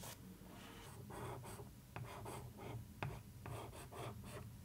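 A nail, then a wooden stick, traces and scratches across the surface of a cardboard box lid printed with newspaper print. The result is a soft, dry rasping and rubbing in repeated strokes, broken by a few sharper contact clicks.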